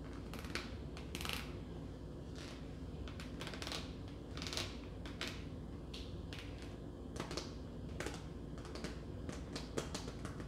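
A red plastic tub of sliced roast beef with a film lid, about 15 cm across, is held in the hand and tapped with long nails. The result is a quick, uneven run of light, sharp clicks with very short ring over a steady low background hum.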